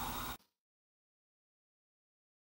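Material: Nothing is struck.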